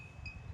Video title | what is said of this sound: ফাঁকা মাঠে টুং টাং শব্দ কেন? # vlog # nature # village blog # natural view | লোহার টুকরো নড়ে কাচের বোতলে লাগছে। লেগে শব্দটা হচ্ছে।